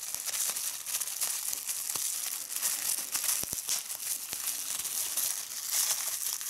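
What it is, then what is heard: Plastic bubble wrap. Clear plastic bubble wrap is bunched in both hands while fingertips and nails squeeze and pop the bubbles. A steady, bright crinkling runs throughout, broken by sharp, dry pops scattered across the clip, with almost no low end.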